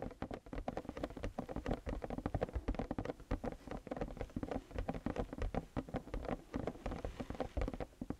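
Fingertips of both hands rapidly tap the lid of a closed, medium-sized printed cardboard Lego City camper set box lying flat, its hollow body likely full of parts. The result is a dense, continuous patter of short, dull, hollow thuds with strong low-end body, a muted mid tone and almost no high brightness, each tap dying away almost instantly.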